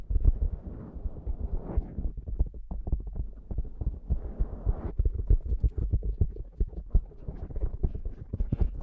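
Fingertips and long nails of both hands rub and scratch the black foam windscreen on a Zoom microphone. The result is a dense run of quick, muffled thumps and scratchy rustles, almost all deep and bass-heavy, with softer hissing brushes in between and faint bright ticks near the end.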